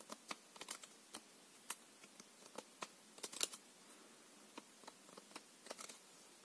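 A small, solid stack of coated paper playing cards, a full deck held in both hands, is riffled and flicked at the edges by fingertips. About eighteen sharp, bright, papery ticks and snaps come at irregular intervals, with one slightly louder flurry in the middle. Each click is dry and stops almost at once, with a faint hiss between them and very little low end.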